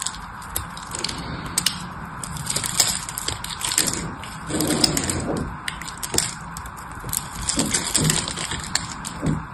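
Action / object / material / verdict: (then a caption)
scrape / bar of soap / soap / none. A metal blade carves and scrapes a solid teal-green bar of soap with an embossed logo, held in the hand, and chunks break off. A steady run of crisp, bright scraping crackles and sharp cracks is heard, with a few longer, fuller grinding passes along the way.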